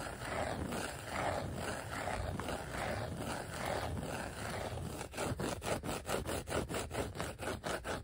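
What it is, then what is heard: Vinyl letter sticker sheet, scratched. Fingertips rub and scratch across a flat, thin, dark glossy black vinyl sheet of die-cut letter stickers, making a steady, dry, papery scraping for about five seconds. It then shifts into a quick series of short, separate scratches, each with a crisp, bright edge over a soft midrange rasp.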